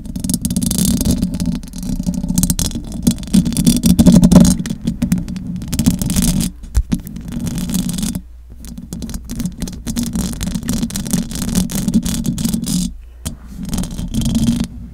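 Long acrylic nails scratch the metal mesh grille of a large silver condenser microphone. The result is a dense, rough rasping with a heavy low body and bright crackle on top, broken by brief pauses at about 7, 8 and 13 seconds.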